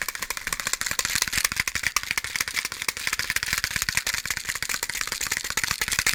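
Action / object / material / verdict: shake / cardboard box of wooden matches / wood, cardboard / none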